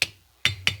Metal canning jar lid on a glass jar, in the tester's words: if you hear it Go thump then it's not good